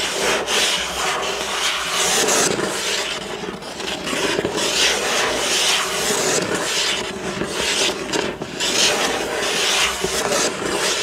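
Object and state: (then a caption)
Cardboard box scratched with fingernails. Fingertips and nails of one hand scratch and rub across the front of a hollow, printed cardboard building-block box lying on a table. The result is a steady, dry, papery rasping with bright hiss and almost no low end, swelling and easing slightly as the strokes continue without pause.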